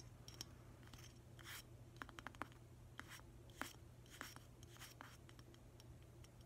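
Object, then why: Glazed ceramic figurine. Fingertips and nails scratch and tap around the base of a hollow green glazed ceramic octopus figurine, which has a rubber stopper in its base. Soft, dry scratching runs under sharp, light clicking taps that die away almost instantly, over a steady low hum.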